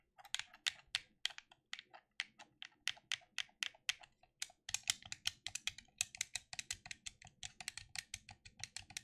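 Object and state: Plastic game controller buttons.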